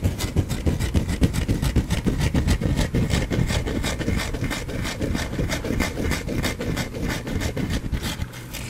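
A palm-sized, partly carved solid white bar of soap is held in one hand and scratched with the fingernails of the other, dropping soap shavings onto a cloth. Quick, uneven dry scraping strokes rasp along at roughly three to four per second over a full, low-heavy texture, easing slightly in loudness toward the end.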